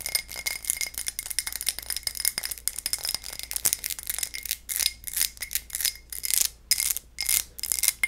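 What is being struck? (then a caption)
Textured glass tumbler. A textured low-ball glass tumbler is tapped and scratched with fingernails, producing a rapid, uneven stream of bright, high clinks and scratchy ticks. Each tap dies away almost instantly, and there is little low-end body.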